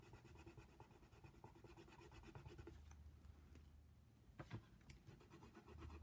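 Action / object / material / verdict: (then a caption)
scrape / paper coloring book page with a wooden pencil / paper / none. A wooden colored pencil held in the fingers shades a giraffe's mouth on a thin white coloring-book page lying flat on a table. It makes soft, scratchy, low-level rubbing with short back-and-forth strokes in a steady rhythm. A few sharper scratches cut through near the end.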